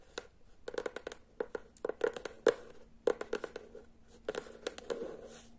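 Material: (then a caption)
Cardboard. Long nails tap quickly on the cover of a teal hardcover book, then on its spine. Short, crisp clicks with a mid-range tone come in irregular clusters over a faint steady hum.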